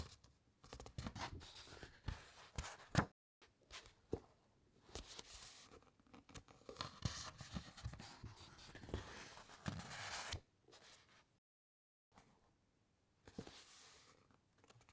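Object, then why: Thick uncoated paper pages. Long nails and fingertips rub along thick, uncoated printed encyclopaedia pages as a page curls over, giving soft, dry papery scratches and rustles with bright edges. The sound comes in short bursts broken by brief silences, including a few seconds of quiet near the end before the rubbing resumes.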